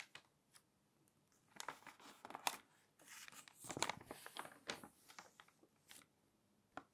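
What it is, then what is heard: Glossy paper magazine pages being turned. Fingertips turn and smooth the pages of a thick, open glossy paper magazine. Quiet, bright, crinkly rustles and sharp papery ticks come in irregular bursts, with a louder sweep of crackling as a page turns over.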